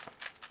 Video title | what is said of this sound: Makera Z1 vs Carvera Air: Precision, Power, problems and first impressions. | when I shake it, you can hear the balls rolling around